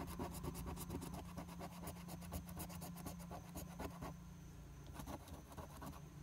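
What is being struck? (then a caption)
Paper lottery scratch-off ticket scraped with a coin. A large coin scratches the latex coating off the Game 1 area of a flat paper lottery scratch-off ticket held down by one hand. Quick, rhythmic, rasping strokes run over a steady low hum, then thin out after about four seconds into a few sparser scrapes.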